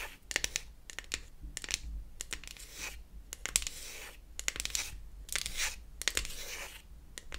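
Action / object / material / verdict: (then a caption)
scrape / beech-wood toy palette back / wood / none. Long acrylic nails scratch and tap the flat beech-wood back of a closed wooden toy eyeshadow palette held in the hands. Quick, bright scratching bursts alternate with sharp, dry clicking taps that die away almost instantly, giving a crisp, quiet texture with little low end.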